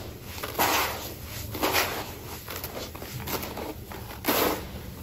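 Bare hands rub, squeeze and crumble a loose, crumbly pile of dry grey sand-cement mix filling a red plastic tub. The result is bursts of gritty, broadband crunching and rustling that reach bright highs, separated by quieter stretches of soft grainy shifting.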